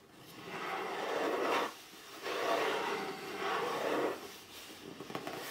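Fingertips rub and scratch along the printed lettering on top of a hollow red cardboard box lying flat. Long, dry, papery rubbing strokes swell and fade, centred in the midrange around 700 Hz, followed by quieter, finer scratching at the end.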